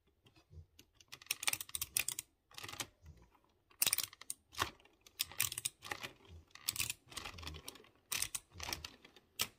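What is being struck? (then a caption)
Mechanical keyboard with round typewriter-style keycaps and clicky switches. Fingertips type on a typewriter-style mechanical keyboard with round chrome-rimmed keycaps over exposed blue switches. Bright, crisp clicks and clacks come in quick irregular bursts separated by short pauses, each keystroke sharp and dying away almost at once.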